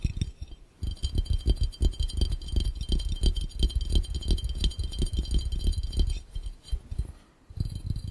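Rapid fingertip tapping with both hands on a clear, empty, hollow glass fishbowl makes a fast, uneven patter of dull, low thumps with faint, bright glassy clinks above them. Brief pauses come near the start and shortly before the end, and the taps then resume.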